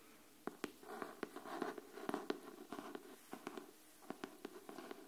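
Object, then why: Cardboard hardcover notebook. Long nails tap and scratch the cover of a pink cardboard hardcover paper notebook held flat. About 17 quick, dry taps stand out over a soft, continuous scratching, with little low end and almost no ring.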